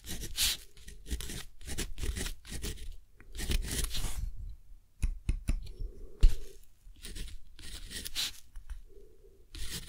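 A metal dip-pen nib scratches across a thick, rough, flat textured cotton paper sheet in steady writing strokes while a hand holds the sheet. The sound is a series of dry, scratchy bursts with bright hiss and a low rumble underneath, separated by short quiet gaps between strokes.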